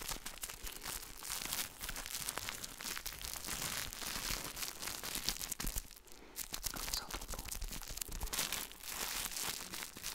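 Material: Plastic film.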